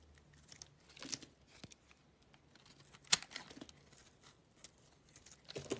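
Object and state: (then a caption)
Bar of soap being sliced. A black utility knife blade cuts thin slices off a small solid yellow soap bar held in the hand. Quiet, bright, crisp scraping and shaving sounds come in short bursts, with one sharper crackling cut standing out near the middle.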